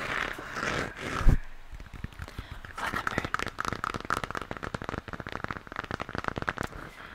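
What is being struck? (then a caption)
Plastic moon lamp shell. Fingernails scratch and tap the textured shell of a hollow plastic moon lamp, lit pink and held in the hands. Soft, brushy scratching with one dull knock near the start gives way to a quick run of light, dry, clicky taps.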